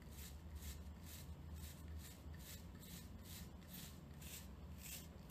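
Long painted nails scratch and flick across the pin tips of a hand-sized plastic paddle hairbrush, with a clear plastic handle and a cushion of many short pins, held in both hands. Quiet, bright, raspy strokes repeat in a steady rhythm over a constant low rumble.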